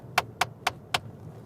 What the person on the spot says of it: that is the sound of me tapping my ring on the dashboard top